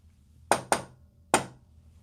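Three sharp knocks on a metal wall panel that looks like wood, the first two close together and the third after a short pause. Each knock is a bright, short metallic tap with a midrange ring around 670 Hz that dies away quickly, over a quiet background.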